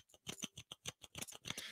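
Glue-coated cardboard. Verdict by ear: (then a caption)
Hard. A piece of hardened, glue-coated cardboard is scratched right after a regular piece for comparison, giving nine quick, dry, high-pitched rasping strokes with no ring. The coated cardboard is harder and stronger than the regular piece.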